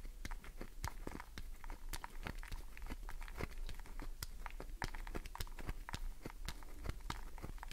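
A solid green glycerin soap bar is held in the palm while long nails scratch its surface, shaving bits off. The scratching is a fast, quiet run of short, dry crackling scrapes and ticks with a low rumble underneath.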